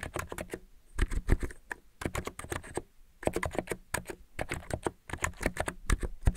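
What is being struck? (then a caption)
Mechanical keyboard with plastic keycaps. Fingertips type repeatedly on a white mechanical keyboard with purple-lit plastic keycaps. Quick bursts of crisp, bright clacks over a deep thock fall in rapid runs, separated by brief pauses.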